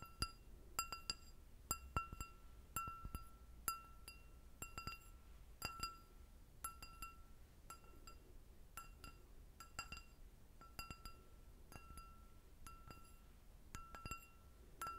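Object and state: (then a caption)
Stemmed glass goblet. An empty, hollow clear glass goblet with a short stem is held in hand and tapped on its bowl with long red nails. The result is a run of irregular, bright clinks, each with a clear ringing tone around 1350 Hz and high overtones that fade quickly. The clinks sit over a faint low background hum.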